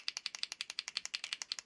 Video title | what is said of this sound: Squirrel Time | once I shake it you can hear the ball down inside